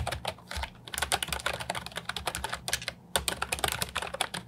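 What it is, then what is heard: Plastic keyboard with round keycaps being typed on. A compact, hollow plastic Ajazz 308I keyboard with round, typewriter-style retro keycaps is typed on with fingertips. It gives a rapid run of short, bright, clacky keystrokes with a brief pause near the 3-second mark. Each click is crisp and dies away almost at once.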